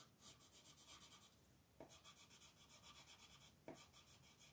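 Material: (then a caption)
Paper. A green colored pencil is rubbed and scratched across a flat paper coloring book page in quick, rhythmic shading strokes. The result is a soft, bright scratchy rasp that pulses steadily with each stroke. Two brief lower swishes break in where the pencil shifts direction.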